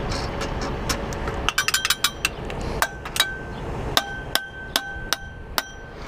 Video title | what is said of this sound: WE FINISH BEAR'S 80CC MOTORIZED BIKE.....FREDDY | if you hear like a ting ting ting, it means there's something loose inside of there